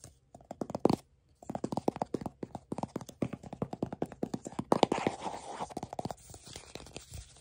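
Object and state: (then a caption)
Cardboard tube canister. A hollow brown and tan paper-board tube canister with a lid is held in one hand while fingertips and nails tap and grip its sides and lid. Quick, dry, hollow taps with a mid-pitched resonance come in a rapid series, broken by a short pause near the start. Toward the end they give way to softer scratchy gripping and rubbing.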